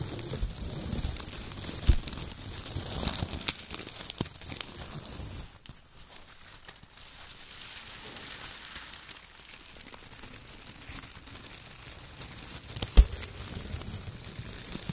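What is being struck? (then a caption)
Shredded kraft paper strips. Fingertips crumple and press a pile of thin brown shredded kraft paper strips, squeezing bunches in both hands. A steady, dense crinkling and crackling carries a bright, airy rustle over a soft low rumble, easing to a quieter stretch in the middle. A couple of sharper pops stand out early and near the end.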